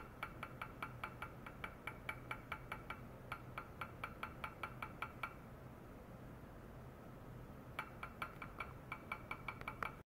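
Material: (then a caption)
Stainless steel. A small, hollow, empty stainless steel cup with side handles rests on a white mesh pad with a probe clipped to its rim, and a long white rod taps it repeatedly on the inside. About 35 quick, bright metallic clinks ring around 1.3 kHz with almost no sustain, coming in a fast run, then a pause of a couple of seconds, then another run. A steady low hum sits underneath throughout.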